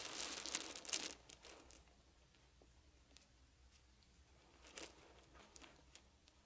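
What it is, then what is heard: Wooden beads. Fingertips pick at and shuffle a pile of small wooden beads resting on a fuzzy blanket. A dense burst of bright, crisp clicking and rattling fills the first second, then thins to sparse, quiet ticks with a brief flurry near the end. The clicks are short and dry, with almost no low end.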